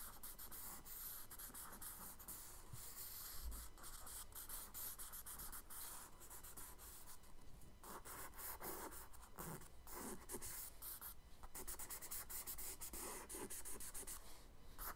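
A charcoal stick held in the fingers scratches and rubs strokes across a page of a spiral-bound tan kraft paper sketchbook lying flat on a dark wooden table, the page covered in a charcoal drawing of a paper boat. Quiet, steady dry scratching and rubbing continues throughout, with bright grainy texture over a faint low hum.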